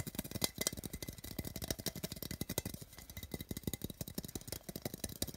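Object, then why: Small metal tin can. Fingernails rapidly tap and scratch the printed side wall of a small, hollow metal tin with a colorful printed wrap, held in the hand. The result is a fast, uneven run of short, dry clicks with a bright, tinny edge and almost no ring after each hit.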